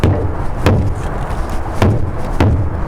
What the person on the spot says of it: what I'm looking for is a difference in the sound and the rebound